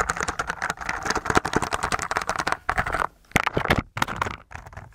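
A white mechanical keyboard with plastic keycaps, covered in translucent blue slime and held tilted in one hand, is tapped and pressed through the slime by the fingertips of the other hand. The result is a fast, dense run of short, muffled clacks mixed with soft, wet squelches, centered in the midrange. The typing breaks briefly near the three-second mark, then resumes in scattered bursts.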